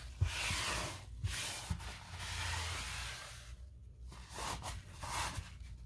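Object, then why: Painted wooden baseboard. A paper towel held in the fingers rubs and wipes along a long, solid, white-painted wood or MDF baseboard trim on a wall. It makes bright, breathy swishing strokes that rise and fade with short pauses between them, over a low rumble. A faint bump is heard near the start.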